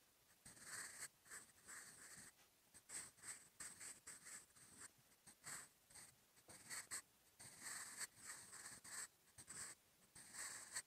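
A sharpened wooden graphite pencil, held in the fingertips, writes in continuous handwriting strokes on a lined paper notebook page resting on a wooden desk. The graphite tip gives a dry, bright scratching in short bursts separated by brief pauses, with little low end and almost no ring.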